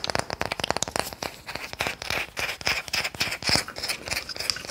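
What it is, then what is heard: Wooden toy car. A wooden toy car is tapped and scratched, giving a quick, irregular run of dry, bright clicks and taps. These give way to softer, rasping scratching with short, crisp transients that die away almost at once.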